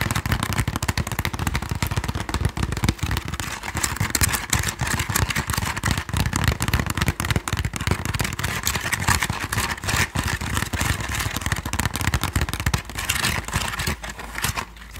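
A medium, hollow woven bamboo Thai sticky rice basket, apparently empty, is tapped and scratched with long nails. The result is a dense, continuous stream of rapid dry taps and scraping rustles, with hollow low thumps and crisp high-frequency scratchy texture. Each tap dies away almost instantly.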